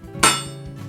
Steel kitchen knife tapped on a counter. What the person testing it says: if you give them a tap on the counter you can just hear that clean of the steel